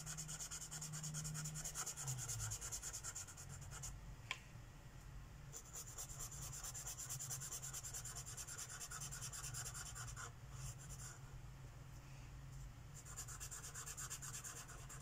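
A lime green Sharpie marker tip rubs rapidly back and forth on a flat paper page of a coloring book lying on a wooden table. The result is a steady, quiet, bright scratchy hiss with a low hum underneath, pausing briefly a few times, with one sharp tick near the four-second mark.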